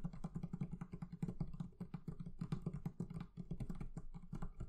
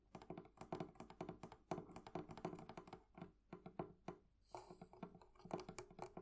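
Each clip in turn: First: leather covering on a barrel chest. Second: metal fittings on a wooden chest.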